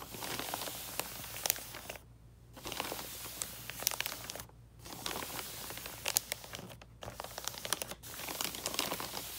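Fingertips and nails of both hands tap and scratch the surface of a flat gift box wrapped in red "Holly Jolly" wrapping paper. The result is a steady stream of bright, crinkly scratching and sharp clicky taps, with a faint low hum underneath. Brief quiet pauses break it up between bursts.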